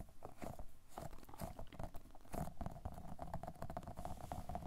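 An orange-yellow, round, fruit-shaped squishy toy made of solid soft polyurethane foam is squeezed and tapped with the fingertips. The result is a steady stream of soft, muffled, low squishes and dull pats that die away almost instantly.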